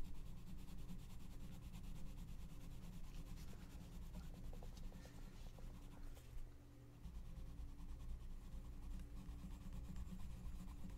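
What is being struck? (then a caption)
Paper coloring book page under a wooden colored pencil. A gloved hand colors in a mandala on a paper coloring book page lying flat in an open book, rubbing and scratching the paper with the tip of a wooden colored pencil. The sound is a steady, low, textured scratching and rubbing that continues throughout, with a brief quieter dip near the seventh second.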